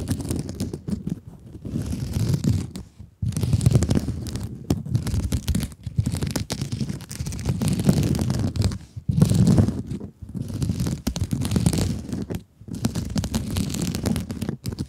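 Long nails scratch and grip the surface of a rectangular blue scrub sponge with a glittery mesh cover, held in front of the mic. Dense, low, crackly rustling comes in long bursts separated by brief silent pauses, with little brightness at the top.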